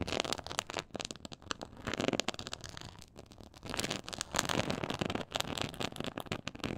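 Long acrylic nails scratch across the raised diamond texture of a black quilted faux-leather board lying flat. The result is a dense, crackling scratch of quick, dry ticks that come in bursts and fade, bright and broad with little low end.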